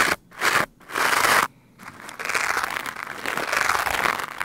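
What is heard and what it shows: A black foam microphone windscreen is brushed with the stiff white nylon bristles of a lime-green scrub brush. Two separate rough strokes are followed by steady, continuous scrubbing. The sound is a dry, crunchy scratching, strongest in the upper mids with a bright hiss on top and almost no low end.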